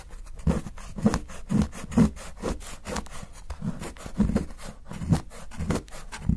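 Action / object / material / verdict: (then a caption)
scrape / chocolate bar scraped with a steel knife / chocolate / none. A solid milk chocolate bar, held by fingers, has its edge rapidly shaved and scraped by a steel kitchen knife. The result is a quick run of soft, low, rasping scrapes with short dull peaks and bright streaks.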